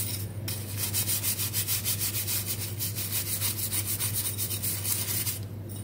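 A small, hollow, perforated stainless steel sink drain strainer basket, soapy and held in hand, is scrubbed with a dark bristle brush. It makes rapid, steady back-and-forth scrubbing strokes at roughly three per second, each a bright, high rasping hiss, over a constant low hum.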